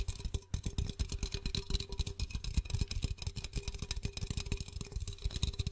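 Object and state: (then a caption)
Aluminum soda can. A blue Pepsi 330 ml aluminum can, hollow and likely closed, is held in one hand while short-nailed fingertips rapidly tap and scratch its side. Dense, quick taps give a low, thumpy body with a steady hum-like tone, while the scratching adds a bright, crackly hiss above.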